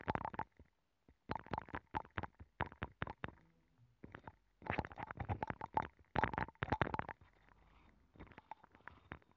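A wooden stick scratches the rim and inner surface of a hollow abalone shell with a nacre interior, mounted on a microphone. Clusters of short, rapid scraping strokes carry a hollow, resonant tone near 850 Hz with a faint bright edge, separated by brief quiet gaps.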